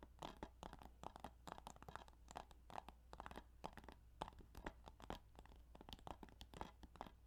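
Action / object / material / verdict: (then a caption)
tap / plastic video game case / plastic / none. Rapid, irregular tapping on the plastic case of the Yu-Gi-Oh! Duelist of the Roses video game gives a stream of soft, dry clicks with a scratchy texture. Each tap dies away almost at once, over a steady low hum.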